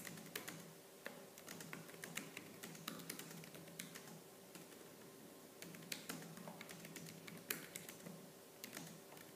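Fingertips with purple-painted nails type fast and hard on the black plastic keys of a laptop keyboard. The result is a quiet, dense stream of sharp, bright clicks and clacks with short decays over a faint, steady low hum.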